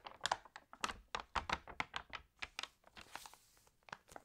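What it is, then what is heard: Glossy paper magazine. Fingernails tap and scratch the pages of an open, water-damaged glossy paper magazine, making about sixteen quick, dry clicks and crinkles with almost no ring. Partway through, a soft, bright swish of a page being turned washes over the taps before the tapping continues.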